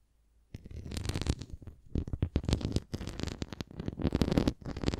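A red plastic flying disc toy stands upright while long nails scratch along its rim and bumps. After half a second of near silence, a dense run of quick, rough scratching strokes begins. The strokes are mostly low and hollow-sounding and continue unevenly to the end.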